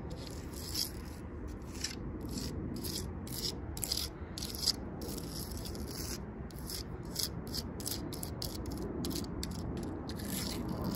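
Long purple nails tap and scratch rapidly on the ridged bark of a large, solid tree trunk. The result is a continuous dry, rasping rub broken by quick, bright, crackly flicks over a steady low rumble.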